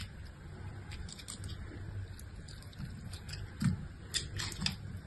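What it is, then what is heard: Bar soap being carved. A utility-knife blade carves and scrapes chips off a solid, palm-sized pink bar of soap held in the hand. Soft, crackly scraping strokes come in irregular bursts, with brief bright scratches over a steady low rumble. A few sharper cuts stand out near the end.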